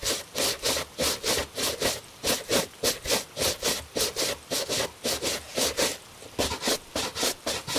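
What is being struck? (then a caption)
Leather dress shoe scrubbed with a bristle brush. A gloved hand scrubs a hollow tan leather cap-toe Italian dress shoe with a bristle shoe brush, rubbing back and forth. The result is a quick, fairly regular series of bright, scratchy brush strokes with a soft midrange rasp and almost no low end.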